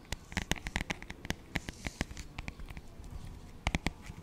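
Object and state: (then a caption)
Paperback songbook, tapped. Fingertips and short nails tap and scratch the cover of a thin, glossy, paper-covered paperback children's songbook (Doc McStuffins "Happy, Healthy Songs"), held flat and solid in front of the microphone. The result is a quick, irregular patter of short, dry taps with dull low thumps and crisp, bright clicks that stop at once without ringing. Soft scratchy rustling fills the gaps, and a final pair of sharper taps closes the clip.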